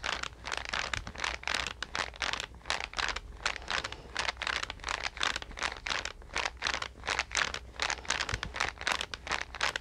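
A green card-covered paper sketch pad is held in both hands and flexed while long nails tap and scratch its cover. The result is a rapid, fairly irregular stream of short, bright scratching and tapping bursts with crinkly texture, very little low end and no ring.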